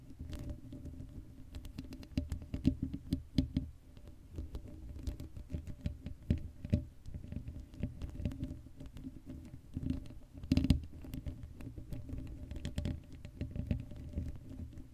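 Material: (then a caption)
Metal mesh. Long acrylic nails scratch and tap across the black metal mesh dome grille of an uncovered Blue Yeti microphone. The result is a steady, quiet, low-heavy patter of rapid scraping and ticking, with a faint thin hum underneath. Brief louder bursts of scratching stand out near the third and eleventh seconds.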